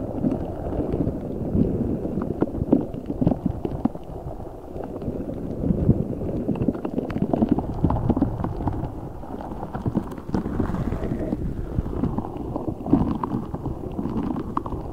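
A large translucent rubber spiky ball filled with gel water beads is squished and rubbed with both hands right over the microphone. Dense, muffled squelching and crackly rubbing sit mostly in the low and mid range, with small soft pops and squeaks running continuously through the clip. The sound has almost no high-end brightness.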